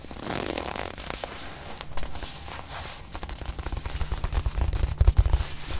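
Long manicured nails tap and scratch the surface of a small, soft, stuffed white leather-covered watch display pillow held in the hand. The result is a dense, irregular run of scratchy rustling and soft, dull taps with a low thump beneath them. The taps grow louder and more pronounced toward the end.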